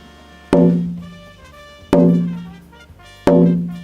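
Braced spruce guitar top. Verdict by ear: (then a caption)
Unvoiced. A braced spruce acoustic guitar top is tapped three times near a microphone, each tap giving a sharp knock followed by a ringing tone around 176 Hz that fades over about half a second. The top is still not voiced: its upper X braces are only slightly shaped and its tone bars only slightly lowered, with the fan braces still to be knocked down.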